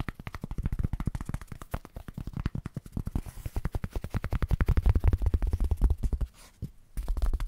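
A small, thin, light white foam packing sheet, possibly polyethylene, solid and flexible, is held in both hands in front of a microphone and tapped and scratched rapidly with fingertips and short nails. It gives a fast, uneven stream of soft, dull, low thuds with crackly scratching over them. The tapping builds louder toward the middle, pauses briefly near the end, then resumes.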